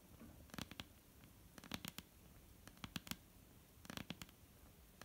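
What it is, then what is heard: Wooden tabletop tapped with fingernails. Long painted nail tips tap a flat, solid dark-brown wooden tabletop in four quick bursts of clicky taps separated by short pauses. Each tap is very short and dry, with a bright, crisp edge over a soft low knock. The tapping is quiet and irregular.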